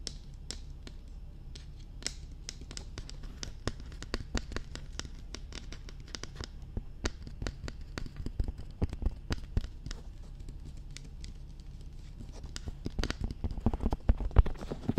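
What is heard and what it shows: Long red nails tap and scratch along the sides of a hollow, glossy black hard plastic dummy head microphone. The result is a quick, dense patter of sharp, dry clicks with brief bright edges over a low, dull body, and the tapping grows busier and louder toward the end.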